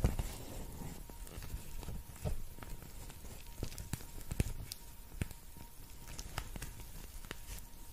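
A purple cartoon-face cooling eye mask, a thin flexible plastic shell filled with gel beads with an elastic strap, is held up in both hands and tapped and scratched across its surface with long painted nails. Soft, crackly plastic rustling is dotted with quick, sharp ticks and brief bright clicks that die away almost instantly. A faint steady tone sits underneath throughout.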